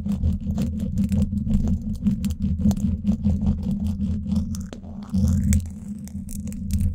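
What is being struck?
Woven steel mesh microphone grille scratched with thin wooden sticks.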